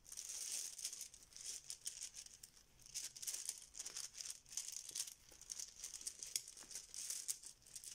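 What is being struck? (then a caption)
Fabric zip pouch with small plastic tiles. A banana-shaped yellow fabric Bananagrams zip pouch full of small plastic letter tiles is squeezed and kneaded with fingertips and nails, making the tiles rattle inside. The sound is a quiet, dry, bright clicking and rattling with almost no low end, coming in irregular bursts throughout.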